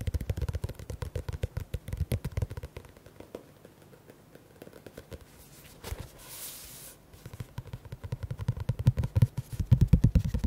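Fingertips and nails rapidly tap and scratch the paper cover and spine of a teal paperback book, making dense, dull, low thuds with faint scraping. The tapping quiets through the middle, where a short bright hissing scratch stands out, then returns faster and louder toward the end.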